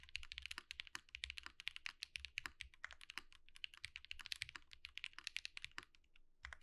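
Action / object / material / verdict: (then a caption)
tap / mechanical keyboard with plastic keycaps / plastic / none. Fast typing with both hands' fingertips on a compact 65% Think6.5 V2 mechanical keyboard with white plastic keycaps and a light case with RGB underglow, resting on a desk mat. A rapid, uneven stream of short, bright clacks with dry, instantly fading decay continues with brief pauses and a few louder, deeper key thocks mixed in.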